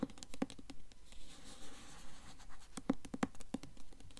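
Long nails scratch and tap the front cover of a blue Mockingjay hardcover book held upright, a solid book with a glossy paper dust jacket. Soft, dry scratching runs under irregular sharp taps, with brief low clicks that die away quickly.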